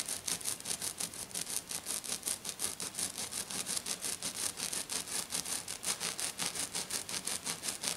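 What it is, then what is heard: Glitter-covered sheet being scratched. A hand with black nails scratches hard and fast across a flat, silver, glitter-covered sheet. About 35 quick, rhythmic strokes make a bright, hissy rasp with very little low end, each stroke cutting off sharply.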